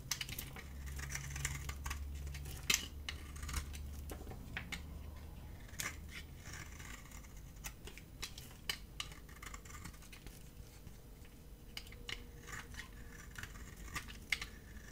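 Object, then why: Bar of soap cut with a metal blade. A metal utility blade scrapes and cuts a dry, solid white bar of soap with a thin green rim, held in the hand, shaving off curled flakes. Crisp, bright scratching and clicking cuts come at an irregular pace and stop short, over a quiet, steady low hum.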